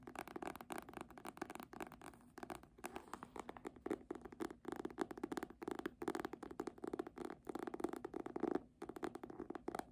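Long manicured nails and fingertips tap and scratch the red embossed faux-leather front cover of a medium hardcover copy of "A Little Princess," held upright and solid with pages. Rapid, dry, clicky taps mix with soft scratchy rasps in bursts, centered in the low midrange with little bass or brightness. Each tap dies almost instantly.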